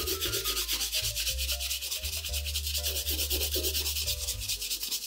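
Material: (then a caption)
Leather. A brown polished leather oxford shoe, held in one hand and hollow with at most a shoe tree inside, is brushed across its upper with a wooden-backed pig-bristle brush in repeated strokes. The result is a steady run of quick, bright, hissing bristle swishes, with soft, steady low tones sustained underneath.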